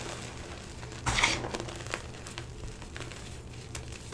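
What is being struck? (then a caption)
Powdered gym chalk (magnesium carbonate). Hands scoop up a mound of stale, powdery green-blue dyed gym chalk (magnesium carbonate) with small lumps, then rub and crumble the chunks between fingers and palms. A bright, gritty crunch bursts out early on, followed by softer, scattered crumbly crackles over a faint low hum.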